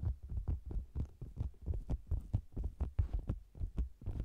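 Fingertips and long nails tap and scratch the sides of a round, hollow faux leather cosmetics bag with a microphone inside. The result is a rapid, uneven series of deep, muffled thumps, booming and throbbing like a heartbeat, with almost no high end and very short decay.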